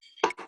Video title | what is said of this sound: Sandwich Islands Network Presents: "On the Porch with the SIN KREW No.2 | get sound, but no more the vibration, yeah, because the wood's so thick